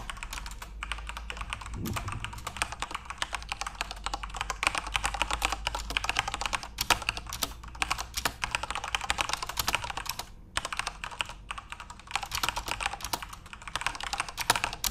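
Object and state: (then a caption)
Plastic keyboard being typed on. Continuous fingertip typing on a backlit plastic Corsair mechanical RGB keyboard produces a rapid, steady stream of short, bright clicks and clacks over a faint low hum. The typing pauses briefly just past ten seconds, then resumes.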